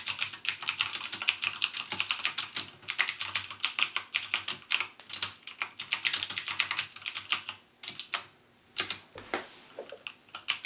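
Fingertips type continuously on a backlit mechanical keyboard with plastic keycaps and Cherry MX Blue switches, producing a rapid stream of sharp, bright clicks with almost no ring. The typing runs steadily for nearly eight seconds, breaks for brief pauses around the eight-second mark, then resumes in sparser bursts.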